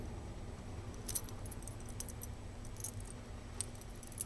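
A small gold-tone Cartier link chain bracelet with solid links and a jeweled panther-head clasp is held and fiddled between the fingertips, so its links jangle and rub together. Quiet, bright, short metallic clinks and ticks sound over a steady low rumble and hum.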